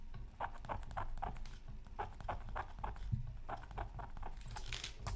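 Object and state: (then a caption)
Scratch art card being scratched. A bamboo stylus scratches repeated short strokes into the black coating of a flat, thin, solid scratch art card from a Mythical Creatures Super Scratch Art Pad. Each stroke is a quick, dry, papery scrape centered in the midrange with brief bright streaks. The strokes come at an uneven pace of roughly three per second over a steady low background hum.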